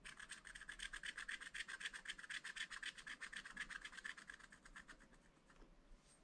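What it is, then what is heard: Scratch-art paper being scraped. A wooden stylus rubs and hatches back and forth over a black coated sheet of a scratch-art paper pad, removing the coating. The result is a rapid, steady run of dry, bright scratching strokes, about four per second, with a rasping tone around 1.8 kHz. The strokes grow quieter and thinner over the last second or so.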